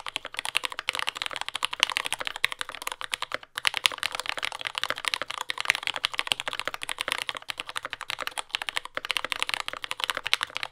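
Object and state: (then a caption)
Mechanical keyboard with plastic keycaps. A compact J-01 mechanical keyboard with lubed yellow Gateron Ink switches, dark brown plastic keycaps and a carbon fiber plate, resting on a desk mat, is typed on continuously with the fingertips of both hands. A rapid stream of short, bright, crisp clacks with almost no ring or low end fills the whole clip, broken only by a few brief pauses.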